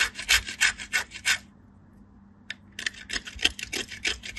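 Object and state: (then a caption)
Bar soap grated on a metal grater. A small solid white soap cube is rubbed with fingertips with long light-blue nails against a small stainless steel box grater held in the other hand, and soap shavings pile onto a green mat. Quick, bright, rasping scrape strokes come in a steady run, pause for about a second, then resume at the same brisk pace.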